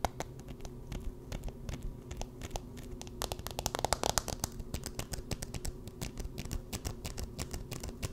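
A handheld smartphone in a solid plastic case with black edges and a white marble-pattern card-holder back is held close to the microphone and tapped and scratched with long red-painted nails. Quick, dry clicking taps and scraping scratches come in a steady, uneven stream over a low, close-up rumble, each tap dying away almost instantly.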